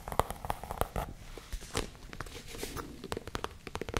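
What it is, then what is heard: Leather pouch tapped and scratched. Long nails tap and scratch the surface of a small, hollow tan leather zip case. The sound is a quick, irregular series of dry, sharp taps mixed with soft scraping, with a muffled low thump under each tap and brighter crackly scratches between them.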